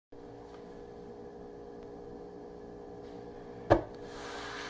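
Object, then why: Wooden countertop. A wooden countertop is scratched and tapped for ASMR. A low, steady tonal hum runs throughout; a single sharp, short tap lands near the end, followed by a soft, airy scratching hiss.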